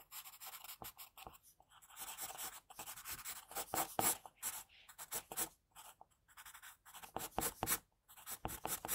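An HB graphite pencil scratches quick hatching strokes across a solid, thin sheet of flat white drawing paper on a desk, shading hair. The result is a dry, bright, papery scratching that comes in rapid, uneven bursts with brief pauses between runs of strokes.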